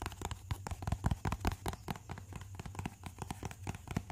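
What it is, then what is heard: Hollow cardboard box. A small, hollow white cardboard box is tapped and scratched with fingertips and nails. Quick, irregular soft taps give dull, low hollow thuds that stop at once with no ring, mixed with brief dry scratching bursts, throughout the clip.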